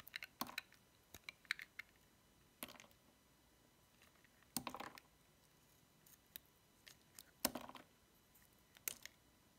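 A metal utility knife blade cuts the corners off a small, solid, cream-white cube of dry soap with a paw decoration, held in the fingertips. The blade makes quiet, sharp, bright crunching clicks and snaps in scattered bursts, with longer crackly scrapes among them. Each one dies away almost instantly over a faint hiss.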